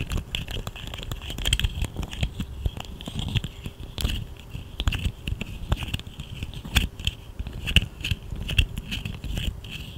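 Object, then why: Segmented plastic fidget slug toy. A small, hollow, segmented plastic fidget slug toy, held between both hands near the microphone, is bent and wiggled so its segments click and rattle while long nails scratch its ridges. It makes a steady stream of quick, dry clicks and crackles over a low, rumbling handling noise, with a bright scratchy edge and occasional sharper snaps.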